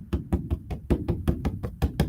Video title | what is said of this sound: art studio 2 | It's this like very deep sub. It's like this deep drum sound.